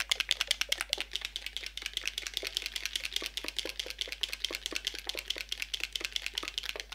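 A bottle of Yves Saint Laurent All Hours face primer is shaken rapidly, making a steady stream of sharp, bright clicking rattles for about seven seconds. The clicks are short and crisp with almost no low end, so they sound much like fast typing.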